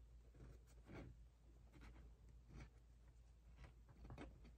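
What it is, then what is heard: Paper wall calendar, scratched and tapped. Long painted nails and fingertips scratch and tap across the thin, flat paper page of a large paper wall calendar turned to September, held upright. Soft, dry scraping strokes and light taps come in loose, irregular bursts over a steady low hum, all at a quiet level.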